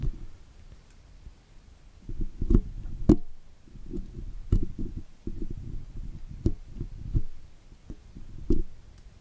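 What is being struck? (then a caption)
Woven steel wire microphone grille scraped with a metal pick. A thin steel dental pick scratches and scrapes dirt from between the wires of the woven metal mesh grille on the hollow head of a large condenser microphone. Close, low, rumbling scrapes come in uneven bursts, punctuated by occasional sharp, bright clicks that die away almost instantly.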